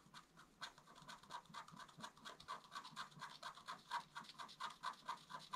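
A wooden stylus scratches a leaf design into a flat black-coated scratch art paper card. Quiet, rapid strokes repeat about two per second in a steady back-and-forth rhythm, each a dry, rasping scrape centered around 1 kHz with bright high hiss and almost no low end.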